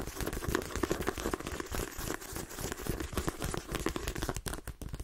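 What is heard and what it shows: Fingernails rapidly tap and scratch along the page edges and spine of a paperback book with a glossy card cover. The result is a dense, steady stream of quick, dry clicks and crinkly scraping taps, with a soft low thump beneath them.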